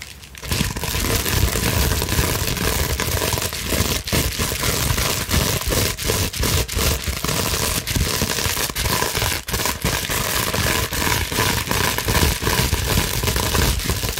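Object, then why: Plastic bubble wrap sheet. A large clear plastic bubble wrap sheet, held up, is scratched with long natural nails. A fast, continuous crinkling and scraping runs for about 14 seconds, with sharp crackles and brief snaps scattered throughout over a steady low rumble.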